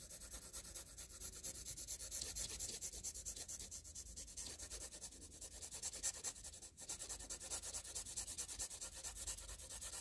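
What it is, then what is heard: Pencil scribbling on graph paper. A green-and-blue wooden graphite pencil is scribbled across a flat sheet of squared graph paper lying on a surface, laying down dense shading strokes. The result is a steady, bright, scratchy rubbing made of quick back-and-forth strokes, with a brief pause near the seven-second mark before the scribbling resumes.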